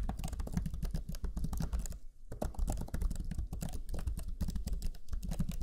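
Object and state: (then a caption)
Plastic laptop keyboard being typed on. Fingertips of both hands type rapidly on the black chiclet keyboard of a Lenovo Legion 5 laptop, whose low-profile plastic keys give quick, dull taps with a deep, low-heavy thump and almost no ring. The key presses run in a dense, steady stream, with a brief pause about two seconds in before typing resumes.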